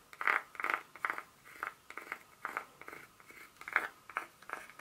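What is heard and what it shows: Long pointed nails tap and scratch the segments of a solid, segmented dark chocolate bar held in the hand, with one corner broken off. Quiet, dry clicks and short scratchy bursts come at an uneven pace, bright and crisp with no low end and almost no ring.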